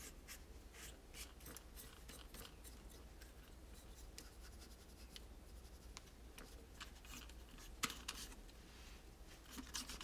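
A multi-part pastel toy tower of hollow molded plastic is wiped and rubbed with a microfiber cloth held in the fingers. Soft, irregular brushing swishes and scratchy rubbing sit over a steady low hum. A few sharp, bright handling clicks stand out near the end.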